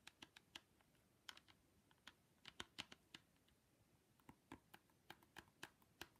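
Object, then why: Plastic ski goggles with mirrored lens. Long pink nails tap and scratch the mirrored plastic lens of a pair of ski goggles with a grey frame edge. About twenty quiet, sharp, bright clicks come in an irregular rhythm with short pauses, each dying away almost instantly. A faint scratching hiss runs between the taps.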